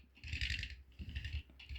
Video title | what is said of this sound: 1:43 IXO 1991 Saab 900 Cabriolet | You can hear the tapping sound.